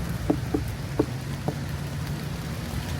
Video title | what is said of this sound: Landrace Gardening in Action (4 Years of Watermelon Crosses - Plus Corn and Pumpkins!) | if you thump it, very, very, very ripe sounding